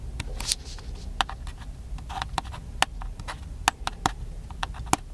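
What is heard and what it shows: Fingertips tap and scratch the casing of a small black handheld plastic camcorder held at chest height. Short, dry, bright clicks land at irregular intervals with no ring, separated by soft scratchy rubbing over a low steady rumble.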